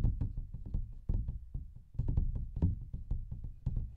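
Fingertips and nails tap rapidly on a large, thin paper coloring book page with a printed pattern, held upright in both hands in front of the mic. The result is a quick, uneven run of dull, low knocks with almost no ring and a soft papery tick on some hits.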